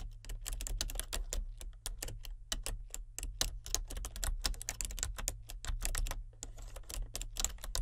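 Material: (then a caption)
Plastic. Fingertips of both hands type continuously on a solid, full-size plastic membrane computer keyboard with a colour-changing backlight. The rapid keystrokes give bright, short, dry clicks that tumble into one another over a steady low hum.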